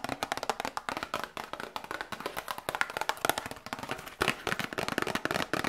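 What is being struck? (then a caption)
Small cardboard box tapped with fingernails. Long nails tap quickly on a small cardboard medicine box held close to a binaural microphone. The result is a dense run of short, dry, hollow clicks with a papery midrange body and a bright top, almost no low end, and no ring after each tap.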